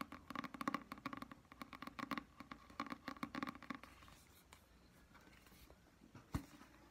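Long dark-painted nails tap and scratch the front and back of a solid, medium paperback "Alice" book with a glossy card cover, held in both hands, producing quick, dry clicking taps with a hollow ring around 1.1 kHz. The tapping then gives way to quieter, soft brushing as the spine and page edges are handled, with one sharp tap near the end.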